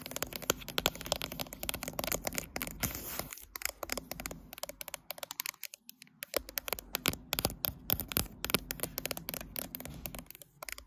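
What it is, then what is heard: Glass-backed smartphone. Long nails tap rapidly on the matte glass back of a smartphone held in a tripod clamp, then move to tap the phone's metal-framed side edge. The sound is a dense run of sharp, bright, dry clicks with a light scratchy texture, each tap dying away almost at once, and a brief quieter gap near the middle.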